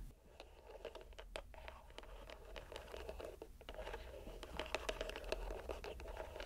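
A fist-sized, soft green rubber squishy stress ball inside a white string net is squeezed and released in one hand by the fingers and palm. The result is quiet, irregular scratchy and crinkly squelching clicks and rubs, centered in the low-mid range with brief bright edges, over a faint low hum.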